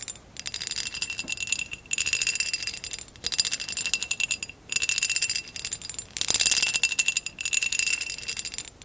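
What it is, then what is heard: Textured glass vase. A hollow amber textured glass vase, held at an angle, is tapped and scratched along its ridged side with long acrylic nails. Bright, dense clicking and scraping bursts come in several long runs separated by short pauses, with high glassy tones ringing near 2.7 kHz and above and almost no low end.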